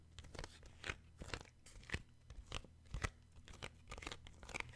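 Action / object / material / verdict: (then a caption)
tap / paperback book with card cover / card / none. Fingertips and short nails tap and scratch the glossy card cover of a paperback children's book. Short, dry crunchy taps and scrapes come at an uneven pace over a low steady hum.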